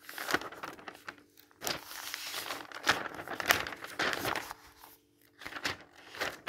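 A hand lifts and turns the pages of a thin paper catalog with white text pages, then rubs and smooths them flat with the palm and fingertips. Crisp, bright crinkling and rustling comes in irregular bursts, with soft swishing strokes between them and brief near-silent pauses. The sound is dry and close, with almost no low end.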